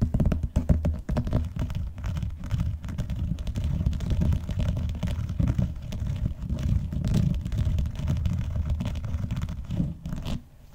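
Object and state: Vinyl-covered binder being scratched.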